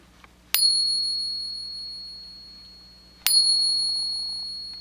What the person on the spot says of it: Here's a Morgan dollar. So it's like a bell, more than other metals.